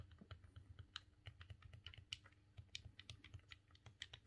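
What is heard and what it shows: Fingertips and thumbs press and click the face buttons and D-pad of a silver, hollow plastic GameCube controller. A rapid, uneven run of short, sharp clicks sounds bright, with a tone near 3 kHz over soft, low plastic thumps. Each click stops almost instantly.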